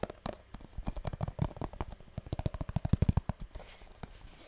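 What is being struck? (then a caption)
Small printed cardboard box. Long nails rapidly tap and scratch the surface of a small, hollow blue printed cardboard box, the kind perfume or cosmetics come in, held close to the mic. Around two dozen quick, dull, low-heavy taps with almost no ring blend with light scraping, then fade into a soft, faint rustle at the end.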